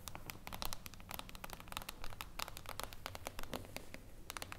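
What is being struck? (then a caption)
Glass tabletop panel. Long blue acrylic nails tap rapidly on a flat, thin, reflective glass tabletop panel resting on a wooden table. Quick, sharp, bright clicks arrive in an irregular stream over a low, steady background hum, each tap dying away almost instantly.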